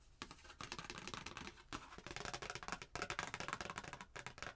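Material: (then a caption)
Cardstock. A thin, flat printed cardstock Christmas card with a red truck picture, held in both hands, is tapped and scratched with long painted nails. A rapid, irregular series of crisp, dry clicks and scratchy rustles comes with bright, papery hiss and little low end, each sound stopping almost at once.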